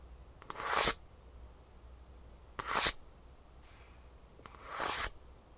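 Long nails tap and scratch the green plastic heel cup, fitted with metal rivets, on the underside of a Superfeet shoe insole with a gray foam base. Three bright, hissy scratching strokes swell and cut off sharply, each with a faint tap just before it. A softer, airy rub is heard between the second and third strokes, over a quiet low hum.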